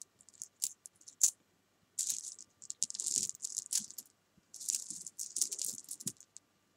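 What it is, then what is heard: Jelly beans rattled. Fingertips with long nails pick up, drop and rattle a spread of many small solid jelly beans against each other on a fabric sofa, while coins sit off to the side untouched. Quick, bright clicking rattles come in bursts separated by short silences, each click dying almost instantly, with hardly any low end.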